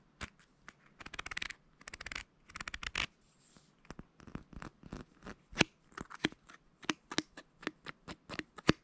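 Fingernails scratch and tap a small, dark plastic supplement bottle full of pills, working over its paper label and white ribbed cap. Dense bursts of bright, rasping scratches come first, followed by a long series of short, dry, sharp ticks and taps with no ring.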